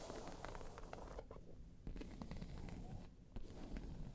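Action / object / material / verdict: scrape / croc-embossed faux leather bag / faux leather / none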